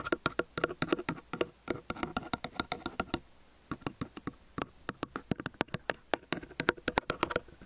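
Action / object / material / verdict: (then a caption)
tap / small metal stereo microphone / metal / none. Fingertips and nails of both hands rapidly tap the two capsules of a small metal stereo microphone on a white stand. The result is a fast, dry patter of short, bright clicks with a brief pause partway through. The taps are too dense to count.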